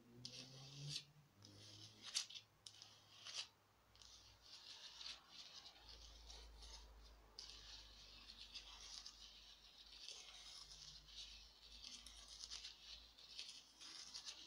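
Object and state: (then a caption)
Foam craft pumpkin scratched with nails. Long nails scratch and rub the textured surface of a small orange foam or plastic craft pumpkin held in one hand. Quiet, bright scratching and rasping rises and falls in an irregular rhythm, with a few sharper scrapes in the first few seconds. A faint low hum runs underneath.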